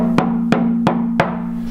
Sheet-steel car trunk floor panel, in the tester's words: sounds like you're knocking on like an empty gas tank